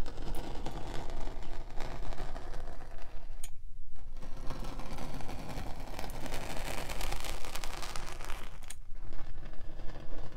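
A metal spiked pinwheel roller is rolled across the surface of a solid rectangular block of pink kinetic sand on a table, pressing rows of small holes. The result is a steady, dense crackling and scraping texture with a strong low rumble, interrupted by two brief near-silent pauses.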